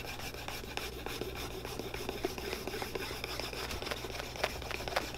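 A wooden dowel-like stick is rubbed back and forth by hand across the surface and edge of a solid leather boot outsole held against a cobbler's apron, burnishing it. The result is a dry, steady rubbing and scraping with frequent small, bright ticks and squeaks over a constant low hum.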